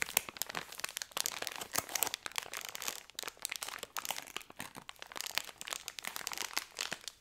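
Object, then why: Thin plastic biscuit wrapper. A full pack of Hobnobs biscuits in a thin plastic wrapper is held in both hands and crinkled and rubbed with fingertips and nails. The result is a continuous stream of bright, dry crinkling and crunching with many sharp snaps and almost no low end.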